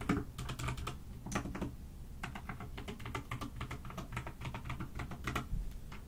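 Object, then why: Mechanical keyboard with plastic keycaps. Fast, continuous typing with fingertips and long nails on a pastel mechanical keyboard with plastic keycaps, resting on a desk. Quick clicky keystrokes come in bursts with short pauses, each one a bright, dry tick over a soft low thump.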